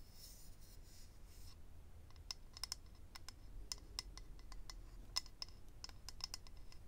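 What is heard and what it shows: Fingernails scratch and tap on a small, hollow, rectangular clear acrylic eyelash case holding rows of lash strips. A soft, bright scratching opens the clip, followed by a string of quick, sharp, high-pitched clicks that die away instantly over a low, quiet background rumble.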